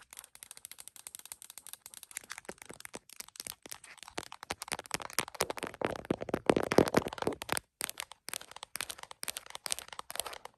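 An iPhone in a printed plastic case, mounted on a tripod and reflected in a mirror, is tapped first with fingertips and then with long nails on the case and around the camera lens. The result is a rapid, irregular stream of dry, short plastic clicks and taps with a bright, crisp edge. The tapping grows denser and louder around the middle before a brief pause, then continues in scattered bursts.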